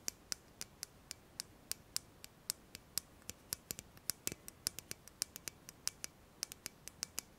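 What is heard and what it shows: Long fingernails tap a slim, shiny, pen-like metal tube, held horizontally and then vertically, in a quick, uneven series of about 36 distinct taps. Each tap is a crisp, bright, high click that stops almost instantly, with almost no low end.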